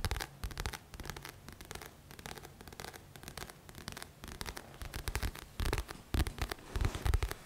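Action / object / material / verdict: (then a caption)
scrape / paperback book with glossy card cover / card / none. Fingertips of both hands scratch the glossy front cover of a thick paperback book. Rapid, dry scratching strokes rise and fall in quick bursts, with soft low thuds beneath and a few louder strokes toward the end.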